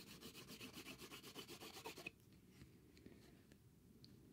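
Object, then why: Cardboard sheet. A small, thin, flat grey cardboard sheet covered in chalk scribbles is held in the hand and scratched and rubbed across its surface. For about two seconds there are fast, rhythmic, dry rubbing strokes with a bright, gritty texture, ending in a sharp scrape. After that, only faint, sparse scratches remain over a quiet hiss.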